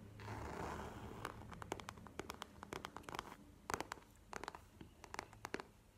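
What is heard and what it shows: Long nails tap a small map-printed faux leather wallet standing on a table. A soft scratchy rustle in the first second gives way to many quick, dry, bright clicks in uneven bursts, each dying away almost at once.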